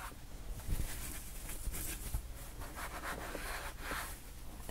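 Long painted nails tap and scratch across a flat, solid white foam board covered in loose black, silver, yellow and purple glitter. The sound is a soft, continuous gritty rustle with brief bright scraping bursts over a low, dull rumble, and no distinct separate hits.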